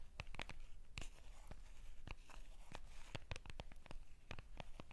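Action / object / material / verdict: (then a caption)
tap / small printed cardboard card box / cardboard / none. A small Hello Kitty UNO card box made of printed cardboard, possibly still shrink-wrapped and full of cards, is held in both hands and scratched and tapped with long purple-painted nails. Quick, sharp, dry clicks and brief bright scratches come in irregular bursts over a steady low hum, each tap dying away almost at once.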